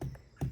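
Two low, dull, drum-like taps on the thick bark of a giant redwood tree, each thudding deep with a short, quick-fading body. The bark is so thick that tapping it always sounds like a drum, which makes hollow cavities inside hard to detect.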